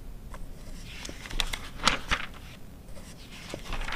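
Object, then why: Glossy paper magazine. Fingertips and long nails turn the thin price-table pages of an open glossy paper car magazine from 2009. The paper flutters and rustles softly, with a few sharper, brighter page flicks standing out over a low background rumble.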